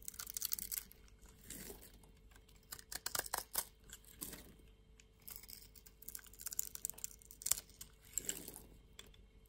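A utility knife slices scored pieces off a solid orange soap bar with a cross-hatched surface, held in hand. Bursts of crisp, bright crackling and snapping come in clusters, with softer, duller scraping passes between them. The sound is quiet overall, and each crack is dry and stops at once.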